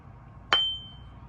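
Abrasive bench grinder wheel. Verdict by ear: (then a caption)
Sound. An abrasive bench grinder wheel, hung from a finger through its arbor hole, is tapped once with a non-metallic screwdriver handle at about a 45-degree angle, about 2 inches from the center, as a ring test. It gives a clear, high ringing tone near 3.1 kHz that fades over about half a second. The clear ring shows the wheel is sound, with no cracks or damage.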